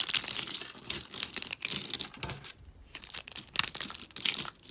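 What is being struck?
Soap flakes.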